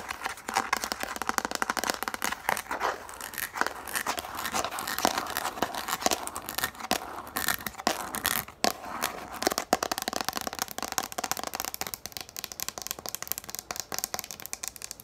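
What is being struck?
Plastic frisbee.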